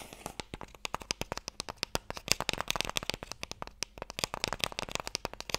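A long, narrow, light wooden Mikado box, hollow and held in both hands, is tapped quickly with fingertips and nails. The result is a rapid, uneven run of sharp, dry, bright clicks with almost no ring.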